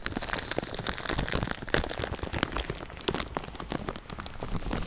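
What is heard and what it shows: Fingers crinkle and scratch a thin sheet of clear plastic film stretched over a binaural ear microphone. The result is a dense, continuous crackle of sharp, dry snaps spread from low rumble to bright highs, with a few louder pops standing out.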